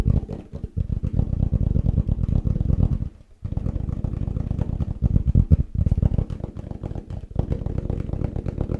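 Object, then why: Plastic food container. A plastic tupperware food container is tapped fast and aggressively, giving a dense run of short, dull, low-pitched knocks. The rapid tapping pauses briefly around the three-second mark, then carries on steadily to the end.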